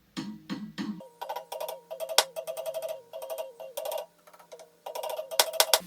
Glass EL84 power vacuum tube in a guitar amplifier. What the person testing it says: when I go to tap the EL84s, hear that cracking in the speaker? I'm touching it ever so lightly.